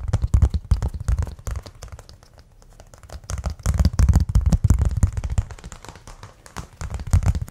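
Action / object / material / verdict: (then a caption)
tap / thin cork board / cork / none. A flat, thin, solid brown cork board is held up and tapped and scratched with fingertips and nails. Quick bursts of soft, dull low thuds come in uneven clusters, easing into a quiet stretch near the middle before picking up again.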